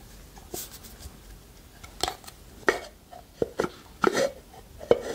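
A small hollow wooden pot with a lid, held in both hands, is scratched and tapped with long nails. Seven short, dry knocks with a hollow woody tone around 480 Hz stand out against soft scratching, each dying away almost at once.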